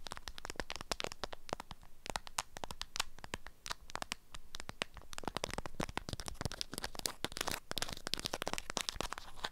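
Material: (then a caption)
Waxed fabric. Long acrylic nails scratch and tap a small package wrapped in an orange-print beeswax fabric food wrap. The crinkly waxed fabric gives a steady stream of dry, crackling taps and scratches with bright edges, and each one stops almost instantly with no ring.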